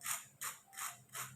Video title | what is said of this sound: الفيديو ده للناس اللى الكبيبة مزبطتش معاهم السنة اللى فاتت تعالوا اقولكم ليه - walaa Ezat | اسمعكم صوتها كمان بعد التحمير. تحفه جدا، اسمعوا كده. سمعتوا بقى صوت القرمشة؟